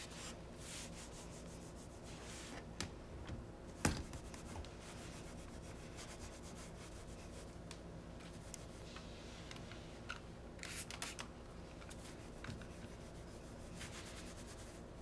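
A cloth held in the fingers wipes along the lower edge and face of a solid white painted drawer front, likely wood or MDF, with a metal knob, while cleaning the dirty cabinet. Soft, steady rubbing and swishing continue throughout over a low hum, with a few sharper, brighter scuffs and taps standing out.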